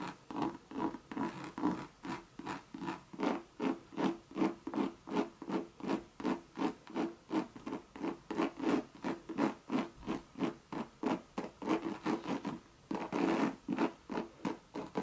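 Long, sharp red nails scratch the side of a hollow Louis Vuitton monogram coated-canvas bucket bag in quick back-and-forth strokes. About 38 distinct scratches come at a steady rhythm of roughly three per second. Each stroke is a dry, papery rasp centered in the low-mid range, with little deep bass and a faint bright hiss.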